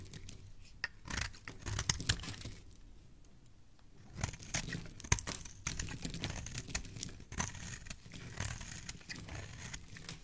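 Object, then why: Bar of soap cut with a metal blade. A solid pink bar soap held in the hand is carved with a metal blade, shaving off pink curls. Crisp, bright scraping and crackling cuts come in bursts, with a quieter pause midway, and each stroke ends in short, dry crunches.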